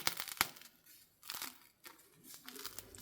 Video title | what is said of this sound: Roggenmischbrötchen selbst machen, Übernacht mit wenig Hefe #141 | look fantastic , listen to how crispy they are